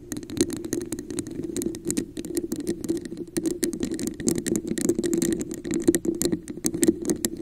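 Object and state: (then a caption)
Plastic cup tapped and scratched. A hollow, translucent red plastic cup with a raised diamond texture sits upside down over a microphone and is tapped and scratched with long acrylic nails. The result is a dense, continuous run of quick, bright clicks and scratchy rattling over a hollow, boxy resonance near 340 Hz. Each click dies away almost instantly.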